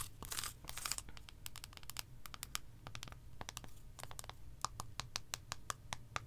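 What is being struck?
Milk chocolate bar.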